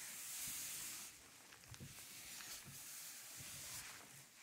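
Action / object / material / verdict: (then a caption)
scrape / vinyl record (PVC disc) / PVC plastic / none. A white-gloved hand rubs a small record cleaning brush over the grooves of a 12-inch black vinyl LP, a thin solid PVC plastic disc lying flat on a velvet tablecloth, while the other hand steadies the disc. A bright, airy hiss of bristles sweeping the grooves is loudest for the first second, then continues softer with faint low soft bumps as the strokes go on.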